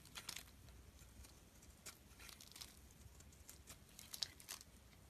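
A snap-off metal utility blade shaves long curls off the surface of a solid, smooth teal bar of soap held in the palm. The scraping comes through as quiet, bright, crisp crackling strokes with short, dry bursts and almost no ring, over a faint low background hum.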